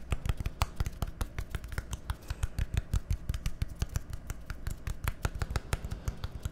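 Fingernails tap and scratch rapidly on a small, hollow, labeled plastic bottle with a green cap. The result is a dense, steady stream of short, sharp clicks and scrapes with bright edges over a low, constant hum.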